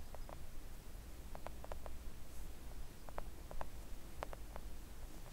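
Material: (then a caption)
Silicone. Long acrylic nails on both hands gently tap a flat, thin, solid pink silicone nail art mat resting on a table. The taps are soft, short clicks that die away almost at once, scattered in small clusters over a steady low hum.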